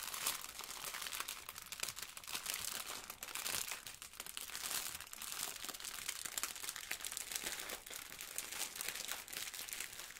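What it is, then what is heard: Plastic-wrapped sponge being crinkled. A blue sponge in a clear plastic wrapper is held, crinkled and rubbed by hands in yellow rubber gloves, with a plastic apron nearby. The result is a steady, dense stream of bright, crisp crinkling and rustling with almost no low end, running the whole clip at an even level.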